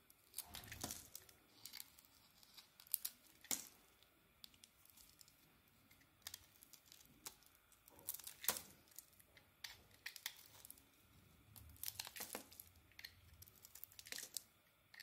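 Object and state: Bar soap being carved.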